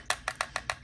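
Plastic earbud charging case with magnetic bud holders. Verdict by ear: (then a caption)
Secure. An open plastic charging case for Shokz OpenFit open-ear headphones, with magnetic bud holders and a magnetic closure, is shaken as a shake test. Six quick, dry, bright clacks rattle out in steady rhythm, each dying away almost at once. The case flops around, but the magnets hold the buds securely and they do not fall out.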